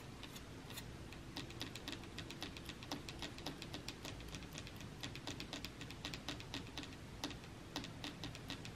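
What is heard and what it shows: Fingertips and nails of several fingers tap rapidly on a flat, solid, dark wooden shelf surface. The result is a quick, uneven stream of sharp, bright clicks over a steady low background hum, each tap dying away quickly.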